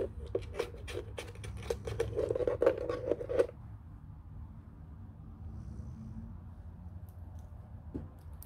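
Long nails scratch and tap the flat panel on the underside of a white, hollow plastic telephone base. For about three and a half seconds, quick, uneven taps and scratches give off bright clicks with a hollow, boxy tone around 500 Hz. The sound then drops to a softer, steady scratching over a low rumble.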